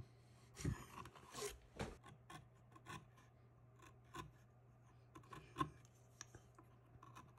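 A small steel detail knife held in the fingertips scratches and cuts fine lines around the eyes of a solid cottonwood bark relief of a face. Quiet, short, dry scraping strokes and crisp bright nicks come in irregular bursts over a steady low hum.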